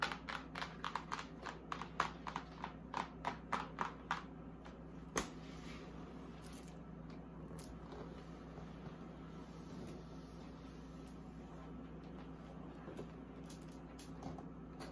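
Long acrylic nails tap quickly across the flat side and top of a large printed cardboard box holding a mini vanity fridge, giving dry, hollow clicks for about four seconds. After one more sharp tap, the nails switch to soft, continuous scratching over the cardboard. A steady low hum runs underneath throughout.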